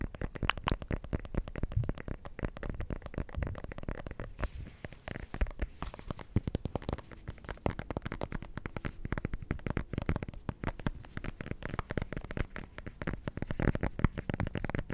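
A small, solid orange decorative pumpkin with a dry stem is held close to the microphone and tapped and scratched with fingertips and nails. It gives a dense, continuous stream of quick, dull, low thumps with short scratchy crackles, each tap dying away almost instantly.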